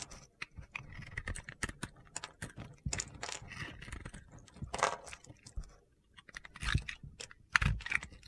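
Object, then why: Bar of soap scraped with a metal blade. A hand-held solid bar of soap, cream with a blue and white decorated top layer, is scraped and carved with a metal box-cutter blade. The result is a quick run of crisp, crunchy scraping and clicking strokes as shavings come off, with a brief quiet pause before the carving resumes.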